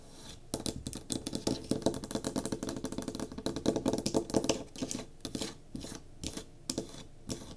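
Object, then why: Small pine wood block candle holder. Long nails rapidly tap and scratch the sides and top of a small solid pine cube candle holder with a tealight, resting on a table. The sound is a fast, uneven run of dry, clicky knocks mixed with brief scratchy rasps, with a hollow mid-range tone. Each tap dies away almost instantly, leaving short quiet gaps between bursts.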